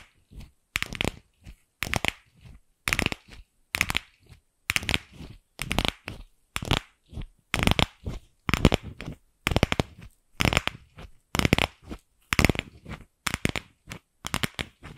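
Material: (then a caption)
Plastic. Long pink nails tap and scratch the surface of a single empty, palm-sized pink hollow plastic ball held in both hands close to the microphone. Short clusters of dry, clicky tapping and scraping come roughly once a second, each with a hollow low thump under bright, crisp detail. There is no ringing between them.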